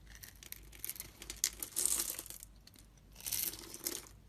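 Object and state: Bar soap being cut.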